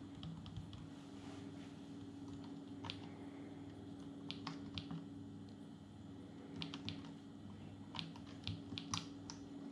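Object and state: Plastic palmtop computer keyboard being typed on.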